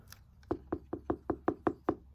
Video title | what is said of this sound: What Are Some Different Book Sizes? - Mechanicsburg Mystery Bookshop Questions Answered | you can hear that it's like knocking on the door